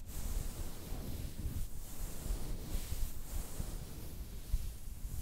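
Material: Nothing is struck.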